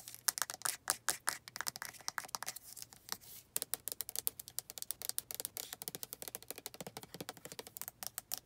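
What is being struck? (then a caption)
Plastic lotion bottle with flip cap. Long red nails tap the flip cap of a white plastic lotion bottle and scratch along its body. The result is a quick, uneven run of sharp, bright clicks with brief scratchy passages. Each tap is dry and dies out instantly, with almost no low end.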